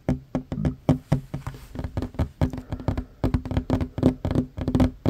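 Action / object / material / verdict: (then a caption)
tap / wooden tabletop / wood / none. Short fingernails and fingertips of both hands tap quickly on a worn wooden tabletop, a large solid surface. The result is a rapid, uneven run of dry, woody knocks with a hollow low tone and soft clicky edges, each dying away almost at once.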